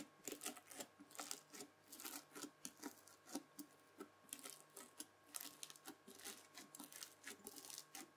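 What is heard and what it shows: A white plastic fork scratches through red bead-filled floam slime, then the slime is folded. It makes a dense run of quick, bright crunching crackles and clicks, with a faint steady hum underneath.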